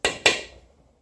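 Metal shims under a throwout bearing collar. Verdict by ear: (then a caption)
Tight. Metal shims under the throwout bearing collar of a Miata V6 conversion are tapped twice with a plastic hammer. Each tap gives a bright, sharp knock centered around 2.4 kHz that fades within about half a second. There is no rattle, showing the shims are seated tight.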